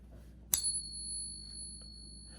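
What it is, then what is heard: Genuine silver dollar, clear ring. A genuine Morgan silver dollar is pinged with a coin ping tool as a reference against fakes. A sharp strike is followed by a long, clear, high bell-like ring with steady tones that sustain to the end, confirming the coin is real silver.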